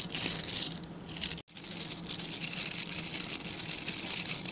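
Fingertips scratch and rub through the dark synthetic bristles of a hand-sized scrub brush with a plastic back. The result is a dense, bright, rattling scratch with a hissy high edge and almost no low end, running steadily apart from a brief silent break near the middle.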